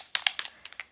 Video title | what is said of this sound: Get flawless under eyes! | it has a little ball in here when you're shaking it up so that you can hear it